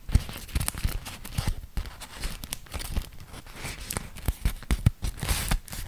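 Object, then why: Beeswax-coated cotton wrap. A thin, printed beeswax-coated cotton food wrap is folded and unfolded by fingertips. The stiff waxed cloth gives sticky peeling sounds and dense, irregular crinkles with frequent soft thumps. Sharp, bright crackles rise above a steady rustle.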